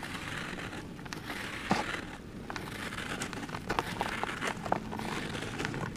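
A large round solid cast of dry grey cement sits in a blue plastic tub while fingertips and short nails scratch and scrape its surface and edge. A steady dry, gritty scraping with scattered sharp crackles and clicks is heard as crumbly powder and small chips break off and fall.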